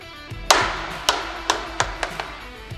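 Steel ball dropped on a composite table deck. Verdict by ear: No dent.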